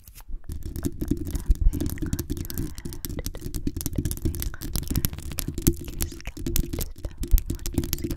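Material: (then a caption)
Metal mesh. Long acrylic nails rapidly scratch the hollow metal mesh head of a black condenser microphone with both hands. The result is a dense, continuous scratching that comes through as a deep, boomy rumble, peppered with quick, sharp clicks and brief louder bursts throughout.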